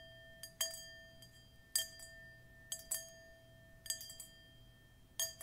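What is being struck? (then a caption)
Metal singing bowl. A hollow, empty, dark metal singing bowl resting on a cushion and held in one hand is tapped on the rim and side with long metal nail claws, giving eight bright, clinking strikes at uneven intervals. Each tap sets off a steady ringing tone near 650 Hz with higher overtones that sustain between the hits.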